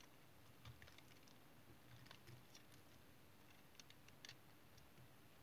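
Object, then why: Bar of brown household soap cut with a small knife. A small, solid piece of brown household or tar soap is held in the fingers while a small metal knife blade shaves thin curls off its edge. Quiet, dry scraping and cutting come through as scattered soft crackles and short, bright ticks over a faint, steady low background hiss.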